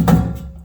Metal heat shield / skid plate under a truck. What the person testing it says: sounds pretty solid. I don't hear anything loose or rattling.